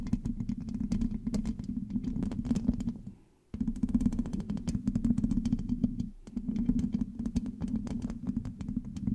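Long acrylic nails on both hands scratch and tap the hollow black metal mesh grille of a large USB microphone. The result is a dense, rapid patter of crisp ticks over a warm, rumbling low-mid scratching body. It pauses briefly twice, near the middle and again around six seconds.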